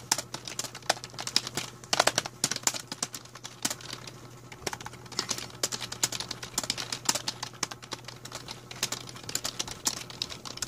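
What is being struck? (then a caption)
Plastic membrane computer keyboard. Fast typing with the fingertips of both hands on a full-size black plastic A4Tech membrane keyboard with a hollow plastic body, resting on a blue mat. A dense, irregular stream of short, bright plastic taps comes in bursts over a faint steady low hum. A faint sound, possibly a bird, can be heard in the background.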